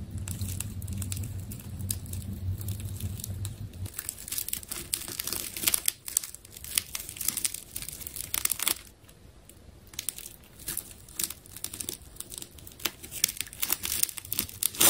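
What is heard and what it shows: A utility knife slices around a solid, palm-sized ball built from layers of silver plastic adhesive tape. The cuts make bright crinkling, tearing and crackling sounds in quick, irregular bursts. A low hum runs underneath for the first four seconds, and a brief quieter stretch comes near the ninth second.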